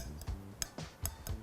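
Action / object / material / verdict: tap / dark chocolate smear on a knife blade / chocolate / set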